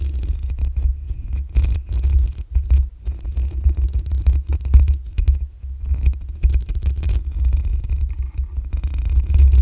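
Long acrylic nails scratch across the black metal mesh grille on the hollow head of a desktop condenser microphone. The result is a dense, continuous run of scraping and rustling with a heavy booming low rumble around 70 Hz, plus faint bright, crackly texture above it.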